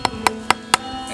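A carved wooden tap, notched so sap can flow, is hammered into a hole in a birch tree with the back of an axe. Four short, sharp knocks with a woody pitch near 960 Hz ring out over background music. The strikes sound solid, showing the tap is seated tightly.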